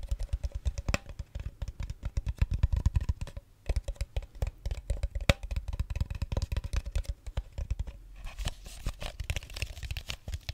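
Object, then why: Thin plastic water bottle. An empty-looking clear plastic water bottle with a red cap, held tilted close to the mic, is tapped with fingernails and crinkled by the hand. Dense, fast, dry clicks and crackles come in bursts with a low thump beneath and a faint steady tone near 550 Hz. Near the end the sound shifts to brighter, hissier crinkling.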